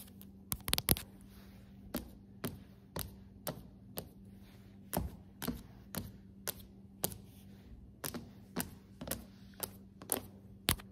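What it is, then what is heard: Solid hardwood floor. Long acrylic nails of both hands tap on solid, glossy hardwood floorboards, making about twenty short, crisp clicks with bright tips, spaced unevenly with a quick flurry near the start. Each tap dies away almost instantly over a faint, steady low hum.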